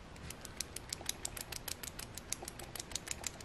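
A brass-looking cannon puzzle is shaken, and a loose object inside rattles with quick, irregular metallic clicks and taps. About 21 light, bright hits ring very briefly over a faint background hiss.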